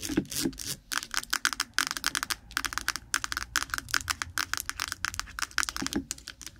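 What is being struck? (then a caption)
Small lidded plastic jar of petroleum jelly. A small white lidded plastic jar of Vaseline (petroleum jelly), apparently full, is held close to the microphone and rapidly tapped and scratched with long nails on its lid and body. The result is a dense, uneven stream of sharp, bright clicks and scrapes with a hollow plastic tone around 1.5 kHz, each dying away almost instantly.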